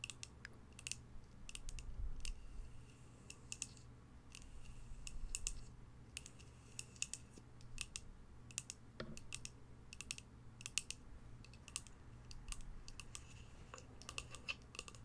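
Long pastel nails tap and scratch on the surface of a small, hollow white polka-dot cardboard box with a lid, held in the hands. Many quick, dry, bright clicks come in uneven bursts, with soft scraping between them over a low, steady hum.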